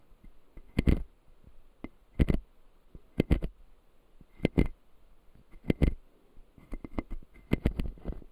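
A fingertip taps and scratches the white plastic lower teeth of an opened, solid clear acrylic dental model. Short, dull clicks and brief scrapes come in irregular clusters, each dying away almost at once, with a faint bright tick on the sharper taps over a quiet background.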